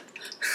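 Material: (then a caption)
Liquid. A bottle of very watery liquid skin tint is shaken, and the thin contents slosh with a wet, bright splashing sound. A few quick sloshes build to a louder burst of high, hissy liquid noise at the end. The thin, mostly-water consistency makes it sound unpleasant, and the product is judged disappointing.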